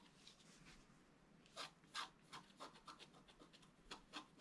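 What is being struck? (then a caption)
Coated scratch art paper scraped with a wooden stylus. A wooden stylus scratches lines into a flat, black-coated sheet of scratch art paper board. Short, bright, rasping strokes come in an uneven rhythm over a soft hiss, with the sharpest scrapes near the middle and at the end.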